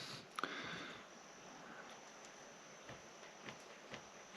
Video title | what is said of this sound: GoKWh 100Ah LiFePO4 Battery $216.00 Bargain at any price? | you can hear that tapping but it's you know a little loose a little loose